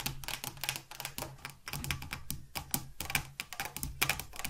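Very long acrylic nails on both hands rapidly tap and click on a hollow metal Gillette shaving foam aerosol can standing on a wooden table, with its fill level not visible. The result is a quick, dense run of bright, sharp ticks that die away almost instantly, like fast typing, over a steady low hum.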